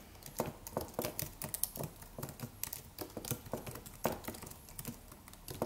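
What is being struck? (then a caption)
Aluminum keyboard with plastic keys. Fingertips of both hands type on a slim, low-profile silver aluminum computer keyboard with white plastic keys. The result is a steady stream of quiet, short, dry clicks and taps with bright tops and soft low thumps, each dying away almost instantly.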